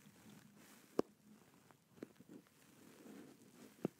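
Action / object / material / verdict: tap / plastic gaming headset shell / plastic / none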